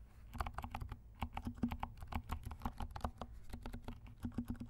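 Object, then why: Plastic mechanical keyboard. Fingertips of both hands type rapidly on a compact black mechanical keyboard with silent switches and black and pink plastic keycaps. It produces a steady stream of soft, muffled, low clicks and thuds that stop short with no ring.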